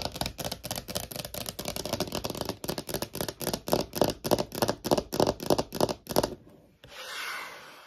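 Long nails tap quickly on a small, thin, hollow clear plastic phone case with a holographic heart print, making about 25 crisp, hollow clicks at roughly three per second that swell toward the middle and fade out just after six seconds. After a brief pause, the nails rub across the surface in a soft, breathy hiss.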